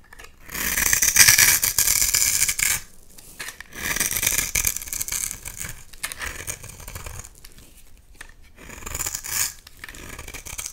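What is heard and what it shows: A utility knife blade scrapes and carves fine shavings off a solid oval bar of orange soap held in one hand. Bright, gritty scraping comes in bursts: a long loud stroke at the start, a second shorter one, then quieter scratchy passes and a final brief loud scrape near the end.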